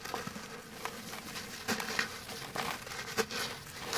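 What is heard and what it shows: A large, solid, fist-sized lump of dry grey cement is crumbled and rubbed apart with bare fingertips over a dark basin. The result is a steady, dry, gritty crackle and bright hissing rustle, broken by short, sharp crunches. Powdery grains patter down into the basin.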